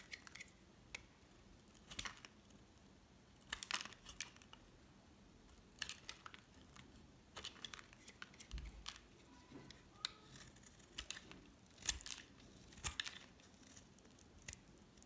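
A hard, solid cream bar soap of the Dove and La'Diva kind, held in the hand, is shaved with a metal utility knife blade. Irregular bursts of dry, bright scraping and crackly scratching come as the blade cuts, with quiet pauses between strokes. Each scrape is short and clipped, with almost no ring.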